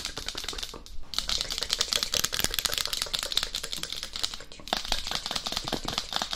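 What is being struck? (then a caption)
Hard plastic dummy head shell. Long acrylic nails on both hands tap rapidly on the crown and cheeks of a life-size, matte black, hard plastic dummy head microphone with a hollow shell. The result is a dense stream of sharp, bright, dry clicks with almost no ring, peaking around 3.7 kHz. The tapping briefly thins out near the one-second mark and again just before the five-second mark.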